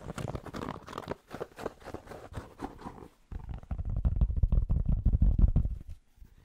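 Fingertips scratch and tap on the hollow crown of a grey cotton Penn State baseball cap held close to the mic. For about three seconds a soft, scratchy rustle with a little brightness is heard. After a brief pause, a louder run of fast, dull, low thumps follows before it fades away.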